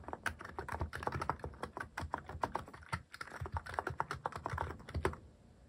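Fingertips type steadily on a mechanical keyboard fitted with plastic cat-shaped keycaps, producing a fast, even stream of short, dry clacks. Each keystroke has a muted low thump under a mid-pitched click, and the typing trails off into quiet at the end.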